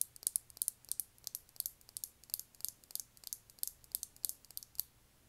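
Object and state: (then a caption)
Lip gloss tube tapped with nails. Long manicured nails tap a small, rectangular, thick-walled clear lip gloss tube filled with copper gloss and topped with a silver cap, held in one hand. Around thirty quick, bright clicks come in an irregular, steady patter. Each is quiet and dry, with almost no low end and no ring.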